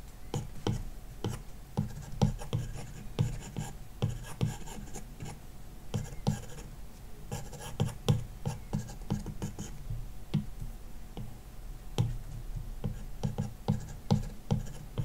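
A plastic stylus tip makes dense, short shading strokes across a large iPad glass touchscreen fitted with a matte screen protector film. Quick scratchy taps and scrapes come in steady bursts, mostly low and dry, with faint bright edges and almost no ring.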